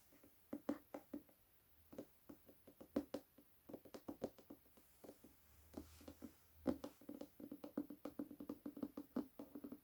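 An illustrated Hunger Games hardcover book with its dust jacket removed is tapped on its paper-covered board. The result is quick, dry knocks in irregular bursts with almost no ring, each one a soft, hollow tap centered in the low-mid range around 250 Hz.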